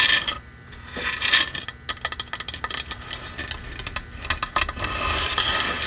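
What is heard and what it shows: A red painted wooden box sign, held upright in both hands, is tapped and scratched with long manicured nails on its front face and edges. Quick, bright clicking taps run in a busy, uneven rhythm between softer stretches of hissy scratching. The sound is mostly high and crisp, with little low end and very short ring.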